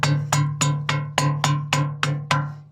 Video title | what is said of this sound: SIKAT NA RESORT BAKIT NAPATIGIL ANG PAGPAPAGAWA🥺😭NAMATAY BIGLA ANG MAY ARI | iba ang tunog